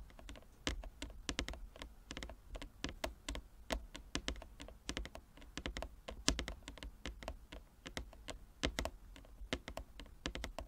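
Fingernails tap quickly with both hands across a large, flat wooden chess board with inlaid squares. The result is a dense patter of short, dry clicks with bright edges and almost no ring, over a steady low hum.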